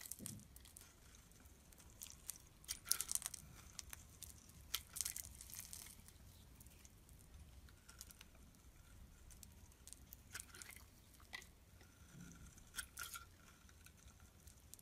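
A solid black-and-white striped bar of soap, held in the hand, is scraped and carved with a metal blade into crumbly flakes. Quiet, bright, crisp scraping and crunching comes in short irregular bursts, with the loudest strokes clustered near the start and middle. Fine crumbling flakes patter between strokes.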